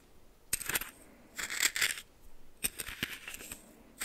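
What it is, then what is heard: Coarse salt stirred in a small metal bowl. A red plastic spoon stirs and scratches coarse white salt in a small greenish metal bowl held in one hand. The result is bursts of bright, gritty crunching and scraping, with sharp metallic clicks where the spoon knocks the bowl.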